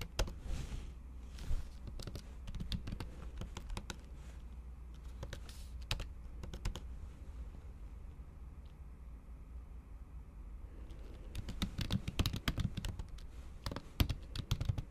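Long acrylic nail tips type on a MacBook Pro keyboard, whose plastic keys sit under a thin pink patterned silicone cover. Quick, dry taps and clicks come in uneven runs over a low, steady hum. The typing thins out in the middle and picks up again in denser, louder bursts toward the end.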